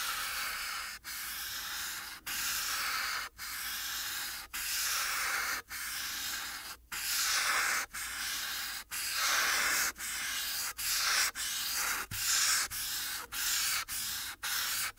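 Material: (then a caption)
Paper. The felt tip of a yellow marker rubs across a thin white paper coloring sheet resting on a dark board, in steady coloring strokes. Each stroke makes a bright, dry, scratchy hiss, with about sixteen strokes separated by brief pauses and growing shorter and quicker toward the end.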